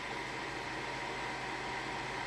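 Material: Nothing is struck.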